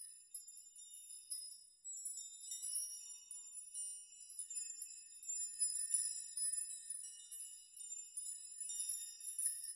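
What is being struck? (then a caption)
Hanging metal rod chime. Fingertips and hands sweep and rock a large curtain of many thin, hollow-sounding hanging metal rods, a metal nail chime, so the rods clink together in dim light. The result is a quiet, continuous, bright shimmer of high tinkling with no low end, swelling and fading as the rods are shaken.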